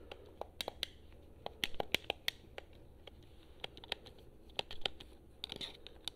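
Long nails tap the touchpad and buttons of a hollow blue plastic PS4 controller held in both hands. The result is a quick, irregular run of sharp, bright clicks and ticks that stop dead, over a faint low hum.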